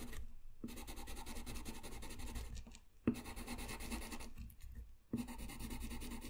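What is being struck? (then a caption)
Paper sheet and coloured pencil. A colored pencil scratches across a flat white sheet of paper in short coloring strokes, making a steady, rasping, papery scrape. The strokes run in long continuous bursts with brief quiet gaps, and each restart brings a small tap.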